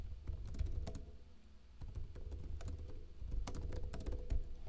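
Fingertips with short blue-painted nails type on a backlit plastic laptop keyboard with hollow keycaps. Quick, dry key taps come in irregular bursts, with a softer lull in the middle. Each tap is short and clicky over a low, hollow thud.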